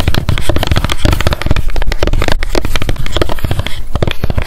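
Long decorated nails tap fast on the label side of a small, square, clear plastic Loretta hair oil bottle with a gold pump and clear cap, held in both hands. The result is a dense, steady stream of quick, dry taps with a deep, thumpy low end and crisp clicks on top. Each tap dies away almost instantly.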